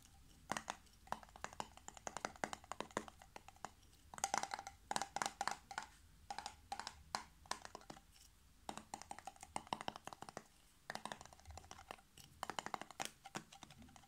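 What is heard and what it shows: Fingertips and nails rapidly tap the yellow metal screw lid and the glass of a small glass jar partly filled with pale contents. The result is bursts of quick, dry clicks and ticks with a faint bright edge and a light ring near 965 Hz, separated by brief pauses. Each tap dies away almost instantly.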